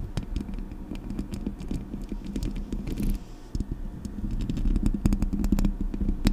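Long nails scratch the hollow metal mesh grille of a Blue Yeti microphone. A dense, irregular run of crackly scratches and sharp bright clicks sits over a steady low hum around 200 Hz, dipping briefly quieter just past the middle before picking up again.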